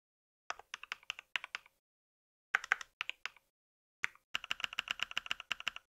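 Fingertips of both hands type rapidly on a compact white mechanical keyboard with plastic keycaps and a solid body, resting on a pink surface. Short, dry, bright clicks come in three quick bursts separated by brief pauses, with the last burst the longest and densest.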